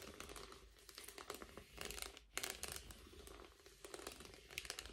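An empty blue metallic foil bubble mailer is held upright while fingertips scratch and rub across its bubbled foil. The result is a dense, continuous crinkling and crackling, bright and quiet, with many small scratchy bursts rising and falling.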